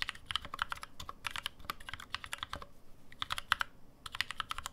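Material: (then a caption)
Aluminum, plastic. Fingertips type steadily on a black NovelKeys NK65, a 65% mechanical keyboard with an aluminum case, plastic keycaps and lubed NovelKeys Cream switches, resting on a deskmat. It produces a fast run of short, bright, clacky keystrokes with almost no ring. The hands spread wider near the end after a brief lull.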